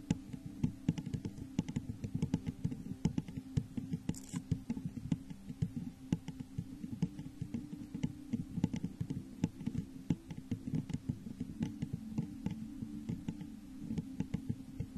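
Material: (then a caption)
Glass. Long nails tap rapidly and irregularly on the sides of a hollow, textured clear glass vase turned upside down over a microphone. The result is a dense patter of short, dry clicks over a low, hollow resonance that dies away almost at once.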